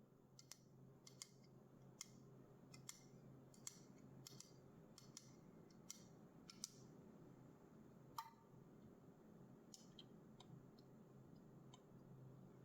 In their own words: Einfach nur Tapping auf einer Red Bull Dose – keine Musik, kein Gerede, nur Sounds.